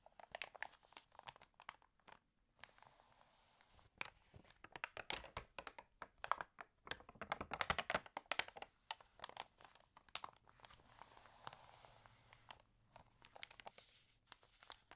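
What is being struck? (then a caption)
Paper magazine pages. Fingertips rub the pages of an open, water-damaged paper home magazine, then turn a page with a crinkle. The sound is a dense run of quiet, dry crackles and rustles, mostly bright with almost no low end. Short gaps separate the bursts, and each crackle stops with no ring.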